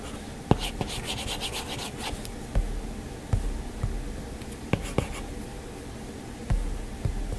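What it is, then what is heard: Stylus on a glass tablet screen. A plastic-tipped Apple Pencil strokes and taps across a flat glass iPad touchscreen, with an occasional fingertip touch. Soft, scratchy rubbing fills the background, with a brighter buzzy stretch of strokes early on. Short, dry taps click out now and then and die away almost instantly.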